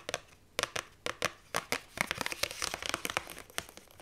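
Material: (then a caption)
Cardstock. A hand reaches through the die-cut hole of a paperback book's paper cover while long nails grip, scratch and crinkle the cardstock. The result is a quick run of sharp, bright scratches and crinkles with short pauses between bursts, with little low end and almost no ring.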